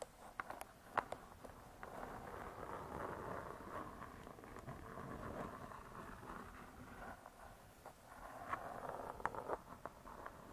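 Long nails tap and scratch the cardboard cover of a spiral-bound hardcover cookbook lying flat. Quiet, soft, dry clicks punctuate a continuous papery scratching rustle in the mid range. Sharper taps cluster near the start and toward the end, each dying away almost instantly.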